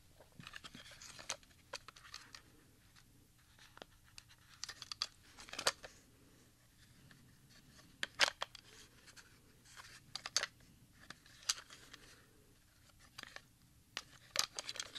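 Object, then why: Plastic audio cassette. A RadioShack HD-60 plastic audio cassette, a small hollow cassette with a black plastic shell and a handwritten label, is held in both hands, turned onto its edge and handled with the fingertips. Quiet, bright clicks and rattles come in irregular bursts with a few sharper snaps, each dying away almost instantly over a faint low hum.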